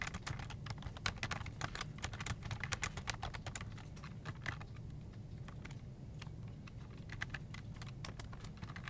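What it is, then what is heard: Plastic computer keyboard. Both hands type with their fingertips on a full-size black plastic desktop keyboard with hollow keycaps, tapping and pressing the keys. Quick, sharp, bright clicks come in a fast, uneven stream that thins out briefly around the middle. A steady low hum runs underneath throughout.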